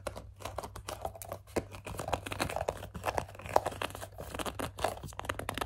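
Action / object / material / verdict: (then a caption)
scrape / plastic pump bottle / plastic / none. Both hands with long dark nails grip, squeeze and scratch the label side of a medium-size, hollow white plastic CeraVe foaming facial cleanser pump bottle. The result is a quiet, dense stream of quick crinkly taps, scratches and small squeaks, with a steady low hum underneath.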